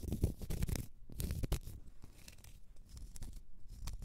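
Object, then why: Large cork stopper. Long nails scratch the end face and side of a large solid cork stopper. The result is a quiet, dense, low scratching and rustling with brief brighter scrapes in between.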